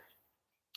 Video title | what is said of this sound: Lots happening today! | I can tap it and my finger doesn't even dent it. And I mean, you can hear it.